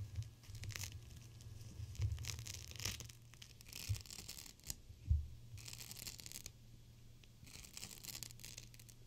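A GLOWY gel bead cold/hot pack, a clear plastic pouch full of teal beads, is squeezed and crinkled by fingers with long nails. Bright, crackly plastic crinkling comes in irregular bursts over a steady low hum, with a few soft, dull squeezing thumps.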